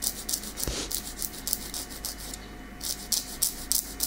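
Long, small, solid natural keratin fingernails are filed back and forth with a light grey nail file held in the other hand. Quick rasping scratch strokes come in a steady, bright, high hiss, with a short pause near the middle before they resume.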